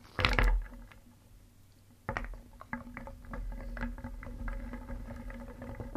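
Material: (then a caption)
Wood. A wooden spoon scoops through a round wooden bowl of small, solid painted wooden pieces. A loud burst of clattering is followed by a brief lull, then a steady stream of light, hollow knocks and rattles as the pieces tumble against each other and the bowl.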